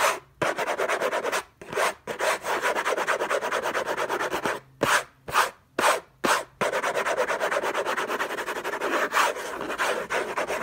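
Fingertips and short nails scratch the lid of a long, rectangular orange Hermès cardboard box covered in textured paper, closed with unknown contents and lying on a fluffy blanket. The result is fast, dense, raspy scratching, mostly continuous and centered in the midrange with some bright hiss. A few brief pauses break it up, and a run of short separate bursts comes in the middle.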